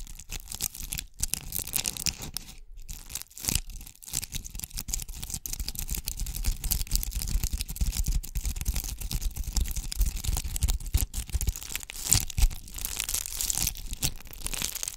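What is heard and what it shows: A palm-sized round ornament ball covered in red and gold bugle tube beads is scratched with long acrylic nails on both hands. It makes a steady, dense, crackly scratching with bright beady clicks over a low rumble. The sound runs continuously, with brief dips near the start.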